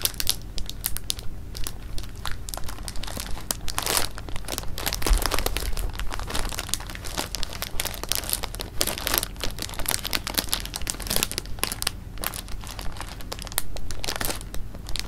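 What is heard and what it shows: A clear plastic bag of jelly beans is held in the hands and squeezed, crinkled and rolled, with the beans shifting inside. Dense, irregular plastic crinkling and bright crackles run throughout, over a steady low hum.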